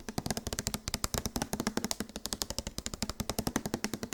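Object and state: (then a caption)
Tapped plastic body wash bottle. Fast, steady tapping on a plastic body wash bottle produces 41 sharp, quick clicks over about four seconds. Each tap dies away almost at once, with a hollow tone around 230 Hz under a bright, crisp top.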